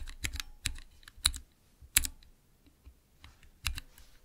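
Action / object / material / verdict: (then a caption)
tap / clear plastic mechanical keyboard switch tester / plastic / none. Fingertips press the transparent keycaps on a small clear acrylic plastic Cherry MX mechanical keyboard switch tester, making about nine sharp, irregularly spaced clacks. Each keystroke is a short, bright click with a low thump underneath and almost no ring, separated by quiet pauses.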